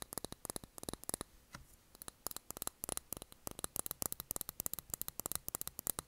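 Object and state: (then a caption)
Glass candle jar with cork lid. Long nails tap the glass sides of a small glass jar filled with blue candle wax and closed with a cork lid. The result is a fast, irregular run of sharp, bright clicks with almost no ring, pausing briefly near the middle before the tapping resumes more densely.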